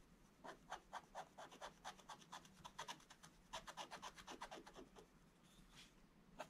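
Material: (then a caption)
Coated paper. A wooden stylus scratches and rubs the black coating off a scratch-art picture page in a book lying flat on a table, revealing colour beneath. Quick, dry scraping strokes come in an uneven rhythm, each a short raspy burst with bright, papery texture and almost no ring, followed by a brief pause and a final stroke.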